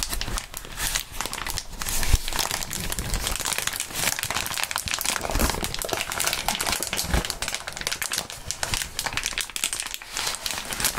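Gloved hands squeeze and crinkle a crumpled sheet of clear plastic bubble wrap. The result is a steady, dense crackling and crinkling that spans from low rustle to bright hiss, with a few louder sharp snaps standing out.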